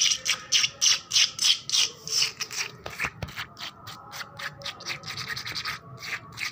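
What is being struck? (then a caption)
Painted concrete floor scratched with fingernails. Long black-polished nails scratch fast across a flat, solid, wet painted concrete floor with puddles. The result is a rapid run of bright, hissing, rasping strokes at about 200 per minute, with a brief low thump near the middle.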